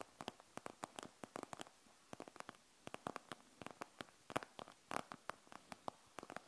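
Long nails scratch and tap across a panda gel bead eye mask with a plastic shell and gel beads, resting on a wooden table. Around thirty quiet, short, dry clicks and scratches come in uneven bursts, bright with little low end and no ring.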